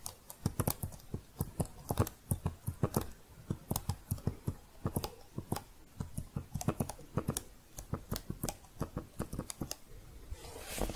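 Long painted fingernails type and tap on the keys of a thin red plastic keyboard cover held upright near the mic. Dozens of quick, dry clicks come in irregular bursts and pauses, each sharp with a bright edge and no ring. A soft, hissy rustle swells in the final second.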